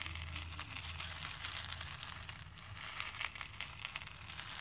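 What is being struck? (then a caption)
Plastic beads in a plastic bowl. Fingertips with dark-painted nails press and rub through a pink plastic bowl full of small cream plastic faux pearl beads. The beads give off a steady stream of soft, bright clinks and rattles, with a faint low rumble underneath at the start. Sharper clicks stand out near the end.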